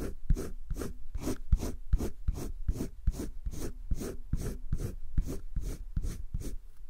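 A green wooden colored pencil shades the left side of a heart drawn on flat, spiral-bound sketchbook paper. It makes a steady run of evenly spaced scratching, rubbing strokes, each a short, dry, low-heavy scrape that ends abruptly with no ring.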